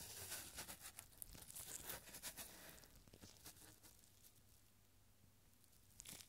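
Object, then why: Small thin paper scroll. A small scroll of thin, yellowed paper with handwritten numbers is gradually unrolled and stretched between gloved fingertips. Bright, dry crinkles and crackles come in quick bursts over the first three seconds. They thin out to faint rustling and end with a last brief crackle.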